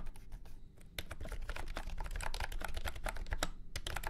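A full-size beige and orange plastic retro keyboard with round keycaps and a hollow body, resting on a felt mat, is typed on with fingertips. Quick, irregular keystrokes give dry, short clacks with a hollow low thump under each tap. A brief lull comes early before the typing picks up and runs steadily to the end.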